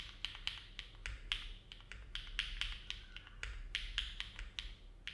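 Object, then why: Mechanical keyboard with aluminum plate and plastic keycaps. Fingertips of both hands type continuously on a compact Neo70 mechanical keyboard with an aluminum plate, foam dampening and dark GMK plastic keycaps, resting on a desk mat. A steady run of short, crisp keystrokes sounds, each a bright click centered around 3.3 kHz that dies away almost instantly over a faint low hum.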